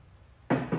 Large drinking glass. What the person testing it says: damping force of this one is pretty strong because it won't ring for long you hear it rings for a little bit it doesn't stick